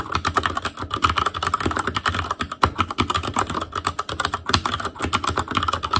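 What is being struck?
Mechanical keyboard with plastic keycaps.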